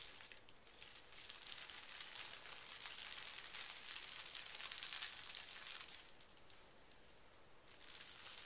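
Fingertips and short nails smooth and scratch a large, flat sheet of thin pink tissue paper lying on carpet. The result is a steady, bright, crisp crinkling and rustling with quick scratchy strokes. It softens briefly near the end, then picks up again.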